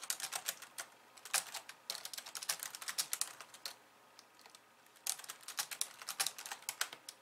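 Fast two-handed typing with long nails on a pink plastic slim keyboard with white keys. It makes rapid, bright, dry clicks with almost no low end. The typing pauses briefly in the middle of the clip and then resumes.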